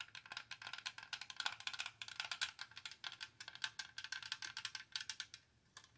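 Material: Plastic.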